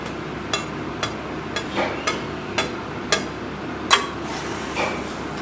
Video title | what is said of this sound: మన శరీరానికి అవసరమైన ఐరన్ కాలిష్యం పుష్కలంగా లభించే పల్లి నువ్వులు చిక్కి-Palli Navvulu Chikki-Acchu | ఇది బాగా గట్టిపడి కొడితే టంగుమని సౌండ్ వస్తుంది